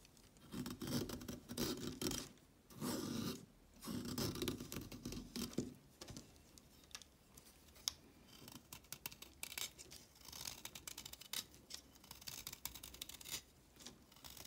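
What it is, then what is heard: Chalk stick being shaved. A solid orange chalk stick, held in the hand, is shaved with a red-handled blade. Four long, gritty scraping strokes with a low, rough body come first, followed by quieter, bright scratches and crisp ticks, with one sharp click near the middle.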